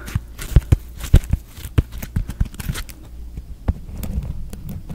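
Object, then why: Foam kitchen sponge with scrub pad. A hand-sized, porous, rectangular foam kitchen sponge with an orange scrub pad is held close to the mic and scratched and tapped with the fingertips. Irregular soft, dull thumps mix with bright, crackly scratching, and the rustle builds into a steadier scrape near the end.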